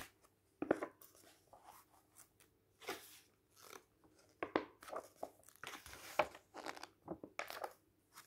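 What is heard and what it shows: Fingertips lift, rub and turn the glossy photo pages of an open softcover book lying on a table, one page at a time. Quiet, crisp crinkles and bright swishing rustles come in short separate bursts, with soft sliding friction between them.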